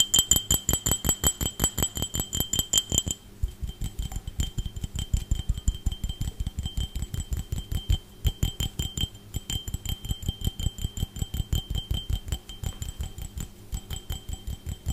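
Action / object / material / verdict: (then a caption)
tap / glass drinking tumbler / glass / none. An empty, hollow, clear glass drinking tumbler is held up and tapped quickly with fingernails and fingertips around its side. About 37 rapid, slightly uneven taps produce short, dry knocks with a low thump and a bright, thin glassy ring. The first few seconds sound sharper and brighter before the taps turn duller and softer.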